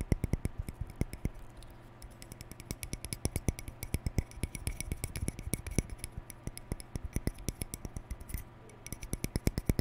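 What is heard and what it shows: A hand-sized hollow plastic round hair brush with a lilac cap and white plastic bristles, held in both hands, has its bristles scratched and flicked by fingertips and nails. The result is a dense run of quick, dry clicks and ticks with a bright top over a low body, each snapping off almost instantly. Short quieter stretches break up the fast patter.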